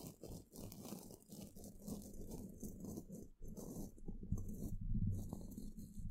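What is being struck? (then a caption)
Woven metal mesh microphone grille brushed with bristles. A wide, flat bristle paintbrush with a wooden handle sweeps across the hollow woven metal mesh grille of an upside-down microphone. The close strokes make dense, crunchy, low-heavy scratching in a quick, uneven rhythm of several strokes per second, with a faint bright hiss above. The sound dips briefly midway, then swells louder toward the end.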